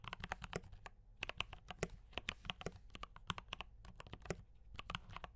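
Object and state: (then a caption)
Mechanical keyboard with plastic keycaps. Fast fingertip typing on a D84 mechanical keyboard with brown switches and cream and red plastic keycaps gives a quick, irregular run of sharp, dry clicks with a clacky mid-high tone. Each keystroke cuts off almost instantly, and a faint low hum sits underneath.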